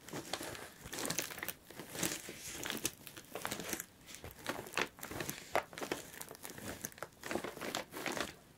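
Long pointed nails tap and scratch across the taped top of a closed brown corrugated cardboard box that lies flat, with packing tape and a paper shipping label on it. The result is a quick, uneven run of dry, crinkly scrapes and light taps that come in bright bursts with very little low end.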